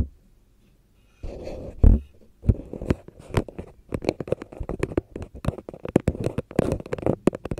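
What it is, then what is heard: Paper cup tapped with a fingernail. A long red fingernail taps and knocks on the rim and side of a small, hollow, empty paper cup printed with a black and white zigzag pattern, held in the hand. After a quiet start and a brief rustling scrape, a rapid series of short, dull, low knocks with quick, crisp attacks fills the rest of the clip.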